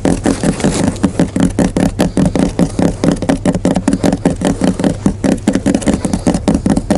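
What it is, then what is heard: Cardboard box. Fingers tap and scratch on the surface of a large, hollow cardboard shipping box for Nachos chips, held on the shoulder next to the ear. Dozens of rapid, somewhat irregular hollow taps and scrapes come out dry, with a low, papery thump and little ring after each one.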